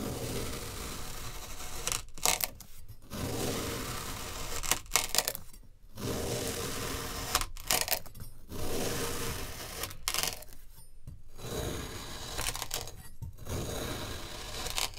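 A metal kitchen knife repeatedly slices through a large, solid rectangular block of packed green kinetic sand resting on a black mat. Each pass gives a crunchy, grainy cutting and scraping sound with bright, hissy texture. Short silent gaps fall between the strokes.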